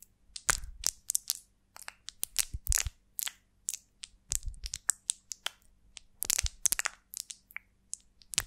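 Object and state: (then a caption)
Beeswax honeycomb scratched with nails. A large golden beeswax honeycomb on a twig is lifted and held in both hands while long nails scratch across its wax cells. About thirty short, bright, crackly crunches and scrapes come in quick, uneven bursts, each stopping dead with almost no ring and separated by quiet gaps.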